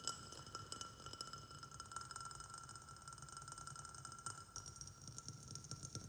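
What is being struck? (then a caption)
Glazed ceramic flower pot. A small white glazed ceramic flower pot, sitting on a saucer and filled with soil and a snake plant, is tapped quickly on its outer wall with fingertips and nails. The result is a rapid, quiet stream of clicky clinks over a steady ringing tone near 1.4 kHz, with bright overtones and short decays.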